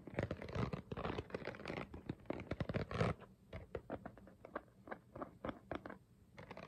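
A hollow, clear ridged plastic water bottle is held up and scratched and tapped with fingernails. About three seconds of dense, rapid scratching give way to sparser, separate dry ticks and taps with almost no ring.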